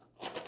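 A small container filled with colored dry pasta from a toddler activity bag is shaken. After a brief quiet moment, a bright, dry rattle of the pasta bouncing around inside starts up and keeps going to the end.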